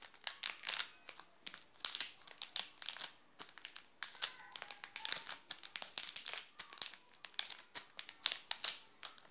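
Fingers crinkle the shiny yellow plastic wrapper of a full, sealed Garoto chocolate bar, then a flat hand presses down on it. The result is quick bursts of bright, crisp crackling, with almost no low end and sharp rustles that stop instantly.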